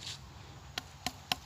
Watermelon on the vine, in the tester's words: นี่แน่นมากเลยลูกนี้นี่